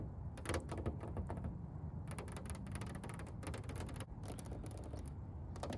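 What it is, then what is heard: Painted car bonnet. Long painted nails and fingertips tap and scratch the large, glossy red painted bonnet of a McLaren GT sports car, a hollow body panel. Quick bursts of bright clicking and scraping come in clusters over a steady low rumble, each tap dying away quickly.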